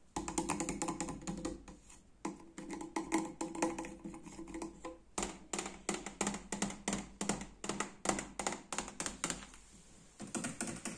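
Fingertips and nails tap quickly on the door panel of a small Liebherr fridge, a white painted steel door that is hollow and insulated with a plastic handle. The bursts of light, clicky taps carry a hollow resonance around 200 Hz, with brief pauses near 2 and 5 seconds and a quieter stretch near 10 seconds before the tapping resumes.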